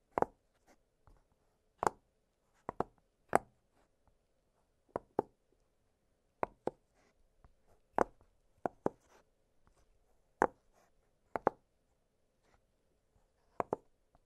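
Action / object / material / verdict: tap / silicone pop-it fidget toy / silicone / none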